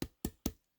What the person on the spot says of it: i can hear that it's good and solid